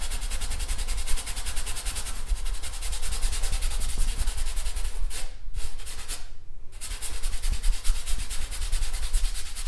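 A long-handled paintbrush rubs across a large stretched painted canvas, taut fabric over a wooden frame, standing on an easel. The result is a steady, dry scrubbing hiss over a heavy low rumble, with two brief pauses in the stroking around the middle before the rubbing resumes.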